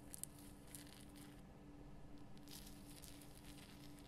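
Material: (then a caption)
Rock salt. Long fingernails scratch the rough crystal sides of a large pink Himalayan rock salt lamp. Quiet, dry scratching and crinkling comes in bursts of bright hiss, with a couple of sharper clicks near the start, over a steady low hum. The scratching thins out briefly in the middle, then picks up again until the end.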